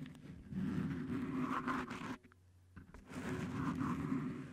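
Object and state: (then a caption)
Cohesive grip tape on microphone, scratched. Both hands scratch and rub the head of a Blue Yeti microphone wrapped in blue stretchy cohesive (flex grip) tape, using fingertips and short nails. The result is a dense, rough, low-pitched scratching and rubbing in two sustained bursts separated by a brief quiet pause, with little high-frequency content.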